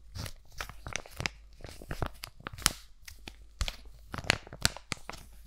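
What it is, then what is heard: Foil-plastic sheet mask pouch. A sealed, flat laminated plastic-and-foil sheet mask pouch is scratched and tapped with long nails and crinkled in the hands. The result is a rapid, irregular stream of dry, bright crinkles, crackles and sharp taps, with short ticking transients over a soft low rustle.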